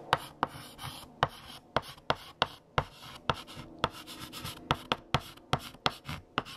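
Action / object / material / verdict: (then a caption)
scrape / chalk on a slate chalkboard / chalk / none. A hand writes on a large, flat black chalkboard with pale yellow chalk. The chalk scratches across the board in dry strokes, punctuated by a series of sharp, bright taps as it strikes and lifts off the surface. The sound is quiet and close, with no speech.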